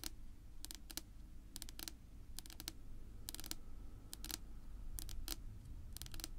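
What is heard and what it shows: Long pink nail tips tap and scratch across a flat, solid, dark wood-grain tabletop. Quick bursts of sharp, bright clicks come in small clusters, each dying away almost at once, over a steady low rumble.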